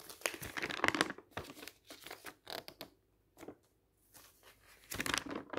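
Fingertips turn the pages of a glossy printed paper brochure held open on a table. Crisp, bright crinkling and rustling come in short bursts, with a quiet pause near the middle before a final louder crinkle.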